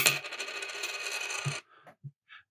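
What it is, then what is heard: Nickel dime, clicks without ringing. A nickel 1968 Canadian dime is dropped onto a table, giving a bright metallic click followed by about 1.5 seconds of high rattling as it settles, then three small separate taps. It just clicks rather than ringing, consistent with a nickel coin.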